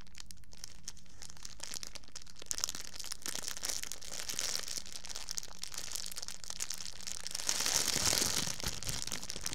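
A thin, empty clear plastic bag is bunched up, squeezed and crinkled with fingertips close to the microphone. It makes a dense, bright crackle of rapid crinkles over a faint steady low hum. The crinkling grows louder and fuller toward the end.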